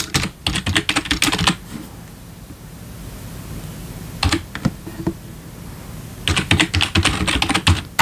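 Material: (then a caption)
Plastic. Fingertips type steadily on a black plastic backlit computer keyboard resting on a wooden desk, producing sharp, dry clicky keystrokes with bright high clatter and a soft low thump. The typing comes in a quick burst, a long quiet pause broken by a few scattered taps, then another fast run of keystrokes.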